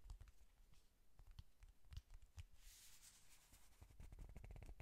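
Fast fingernail tapping and clicking on the closed cardboard cover of a flat pink "Honey Lust" eyeshadow palette. The quiet, dry taps come in quick clusters with very short decay, mostly dull and low, with a brief bright scratchy wash in the middle.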